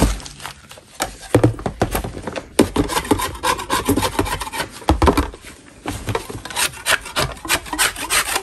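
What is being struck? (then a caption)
Block of natural chalk scraped with a metal knife. A metal putty knife held in a gloved hand scrapes across the surface of a solid natural chalk block. Repeated gritty, rasping strokes with broadband crunch come in uneven bursts, with a brief quieter pause partway through before the scraping resumes.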